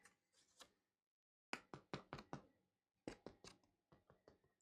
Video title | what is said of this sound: EASIEST SCONE RECIPE - Easy Healthy Tasty. Never Fail Scones. #WithMe New recipes every week. | they sound hollow. They sound like knocking on a door